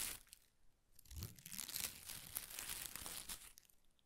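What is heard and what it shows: A ball of thin pastel shredded paper strips is held in one hand while the other hand's fingertips pull and rub at single strips. Soft, bright crinkling and crunching rustles come in close, quiet bursts, with faint low thumps under the dense high crackle. The sound swells in the middle and fades back to a light rustle at the end.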